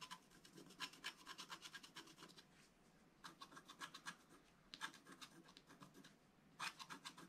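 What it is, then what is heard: Wax-coated scratch art paper. A thin wooden stylus scrapes the black coating off a flat sheet of wax-coated scratch art paper lying on a cloth, working in the upper foliage area. Quick, dry, bright scratching strokes come in several rapid bursts separated by brief pauses.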